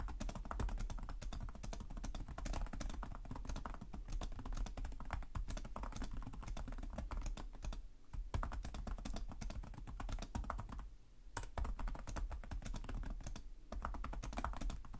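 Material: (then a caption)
Plastic. Fingertips with short nails type continuously on the plastic chiclet keyboard of a black laptop resting on a desk. Rapid, dry key taps with short, low thuds run almost without a break, with brief lulls around 8 and 11 seconds.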